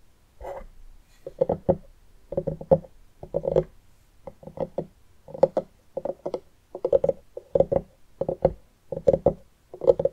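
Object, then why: Pumpkin rind. Fingertips and long nails of both hands tap and scratch the rind near the rim of a medium orange pumpkin that has its top opening cut and is hollow inside, resting on a wooden table. Quick bursts of short, dry, hollow taps with a mid-pitched knock come in clusters separated by brief pauses. Each tap dies away almost instantly.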